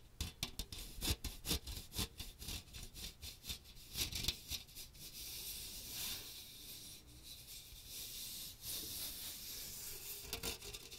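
Fingertips rub and scratch the fine metal mesh dome of a small colander with a plastic rim and a teal plastic handle, held over a microphone. For the first five seconds there is a rapid run of short, bright scratchy bursts over a low rumble. This settles into a steadier, hissing rub with a few louder scrapes near the end.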